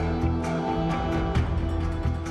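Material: Nothing is struck.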